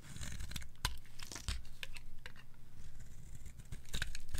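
A pink, palm-sized bar of Discover brand dry soap is held in the hand and shaved with a metal blade into pink curls. Repeated crisp, scraping shaves make a dry, crinkly tearing texture with a low rumble underneath.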